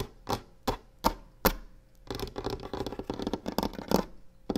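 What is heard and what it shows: Long painted nails tap a solid varnished wooden table top while a box sits untouched at the edge. Four separate sharp, short taps come first, followed by a dense flurry of rapid tapping and scratching, all over a faint steady hum.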